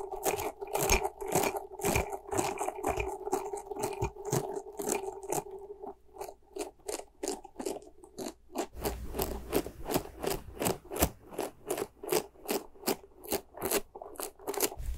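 A small, soft white rubber ghost toy covered in spikes is squeezed and scratched with long nails. It makes a rapid, uneven run of crunchy, scratchy scrapes with a rubbery squeaking tone through the first half. The strokes then turn sharper and more regular, with a soft low thud under them.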